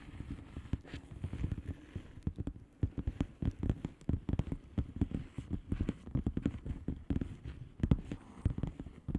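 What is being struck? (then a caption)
Plastic bubble wrap padded envelope. Long polished fingernails of both hands tap and scratch a flat blue plastic bubble wrap padded envelope with air-filled bubbles, lying on a table. Dozens of quick, soft, muffled taps come in uneven bursts, deep and dull with almost no brightness, each dying away almost instantly, with faint scratching between them.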